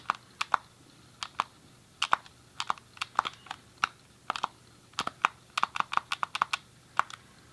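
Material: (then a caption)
Plastic. Thumbs press the face buttons and D-pad of a grey, hollow plastic SNES game controller with colored buttons, held in both hands. About 28 short, dry plastic clicks come in uneven bursts, with a bright tick centered near 1.2 kHz and almost no low end. Each click dies away almost instantly.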